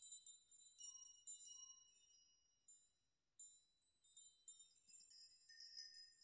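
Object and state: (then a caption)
Metal nail chime. A wall of many long, thin hanging metal nails is pushed and rocked by open hands and fingers, so the nails knock together. Quiet, bright, high metallic tinkles ring in scattered clusters, with a brief silent pause before a denser burst of clinking near the end.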